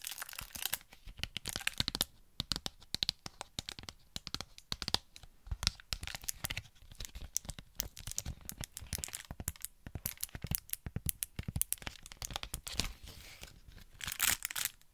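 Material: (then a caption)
Plastic, cardboard. Long nails tap and scratch a small, hollow Pritt Patafix package, a printed cardboard backing with a plastic blister front. Dozens of quick, dry clicks and crackles come in rapid bursts, mixed with crinkly scratching. The sound is mostly bright, with a light, thin thump underneath and almost no ring after each hit.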